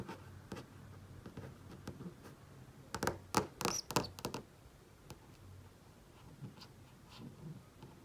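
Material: Plastic, glass.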